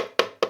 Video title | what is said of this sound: Je reçois mes premières lyres ! (UNBOXING Intimidator Spot 60 ILS - Chauvet DJ) | c'est du plastique hein ça sonne correct